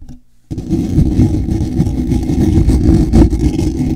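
Fingertips and short nails scratch and rub the large, round, black woven wire-mesh grille of a hollow microphone head. After about half a second of near silence, a dense, continuous scratching rumble starts abruptly, heavy in the low end with little high content, and stays steady with small surges to the end.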